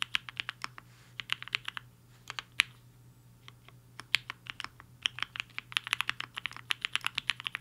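Fingertips of both hands type on a black-cased 75% mechanical keyboard with a hollow case and white and pink plastic keycaps, resting on a desk mat. Bright, short, clacky keystrokes come in uneven bursts with brief pauses, each snapping off almost instantly over a faint low steady hum.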